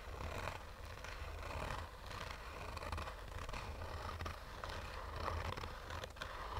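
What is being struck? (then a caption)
Fabric-covered hard-shell sunglasses case. Short fingernails slowly scratch a black, oval, textured fabric-covered sunglasses case with a hollow, rigid hard shell. The result is a continuous, irregular scraping rasp with a low, hollow rumble underneath and soft, brighter scratchy strokes rising and falling throughout.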